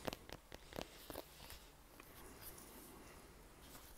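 A brown Baden American football with a pebbled leather-like cover and white laces, hollow and inflated, is held in one hand while fingertips and nails tap and scratch its surface. Five quick, dry taps with almost no ring come in the first second and a half. Softer, steady scratching and rubbing with faint bright clicks follows.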